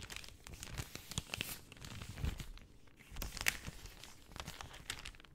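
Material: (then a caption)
Plastic film. A large, thin sheet of translucent pink plastic cellophane is held in both hands and crinkled and folded with long dark-painted nails and fingertips. The result is a soft, steady run of bright, crackly crinkles and tearing-like rustles, with short sharp snaps rising now and then above the quiet texture.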